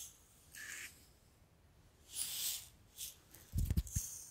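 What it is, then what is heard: Glass bottle of sand. A tall clear glass bottle with a cork stopper, partly filled with pink sand or salt, is held in one hand, tilted and shaken so the grains slide while long nails rub the glass. Soft, bright hissing swishes of sliding grains come in separate bursts over a quiet background. Near the end, a quick cluster of low, dull knocks sounds.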